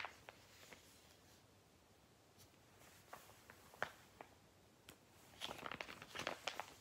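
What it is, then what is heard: Glossy paper catalogue pages. Fingertips riffle and turn the thin pages of a thick, glossy Argos toy catalogue resting on a lap, flipping the paper. Sparse, crisp, bright page flicks and soft rustles stand out against a very quiet background. Near the end they build into a denser burst of rapid papery flips.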